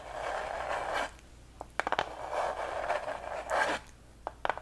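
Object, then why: Thin plywood heart cutout. A flat, thin, unfinished light wooden plywood heart plaque with a small hanger at the top is held upright with both hands and scratched and tapped with long acrylic nails. Raspy, mid-range scraping strokes alternate with short, sharp clicky taps, grouped in quick clusters. The taps stop dead with almost no ring.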